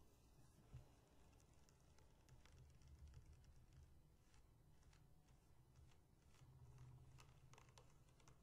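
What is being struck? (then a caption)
Clear plastic bottle with metal cap. A tall, empty, hollow clear plastic bottle with a silver metal cap is held, then stood upright, and tapped and scratched on its sides with long painted fingernails. Quiet, rapid, dry taps and light scratches run throughout over a low, steady rumble.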